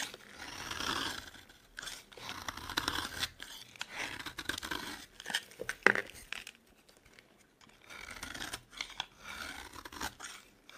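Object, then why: Bar of soap scraped with a metal blade. A solid, dry orange Palmolive soap bar, held in the hand, is scraped and scored with a metal box-cutter blade into shavings. Bursts of crisp, bright scraping and crunching come and go, with one sharp click near the middle and a brief quiet stretch before the scraping resumes.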